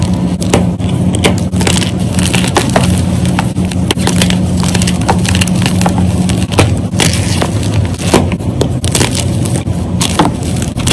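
Fingers with dark nails rapidly snap and crush solid white gym chalk squares, the powder falling into a bowl of chalk. The sound is a dense, fast run of dry crunches and crackles broken by sharp, bright snaps, with a steady low hum underneath for the first half.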